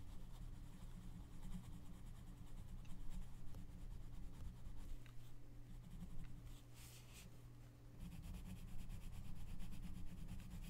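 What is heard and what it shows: A gloved hand rubs an orange colored pencil across the paper page of an open coloring book lying flat, making a continuous soft scratching and rubbing over a steady low hum. The strokes ease briefly around the middle, with a short bright hiss, then resume at a similar level.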